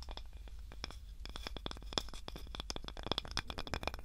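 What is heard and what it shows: A small, light, solid wooden cutting board with a handle is scratched and tapped with long nails. Rapid, dry clicks and scratches come in a dense, uneven stream, with bright peaks and a low hum underneath. The taps are short and barely ring.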